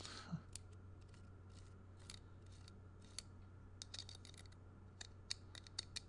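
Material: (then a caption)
Wood, metal. Fingernails scratch and strum the nail heads and threads of a solid wooden block with nail-and-string art, held in the hand. Quiet, sharp, bright clicks and scratchy ticks come at irregular intervals over a steady low hum, each dying away almost instantly.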